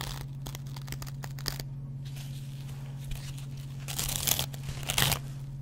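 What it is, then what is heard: Dry cellulose sponge scratched with a blade. A metal double-edge razor blade scratches the yellow cellulose foam of a hand-sized, dry kitchen sponge that has a green scouring pad. Short, irregular scratchy rasps with a bright, tearing crinkle sound over a steady low hum, with the loudest and longest scraping bursts near the end.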